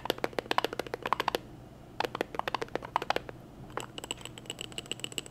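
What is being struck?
Glass jar.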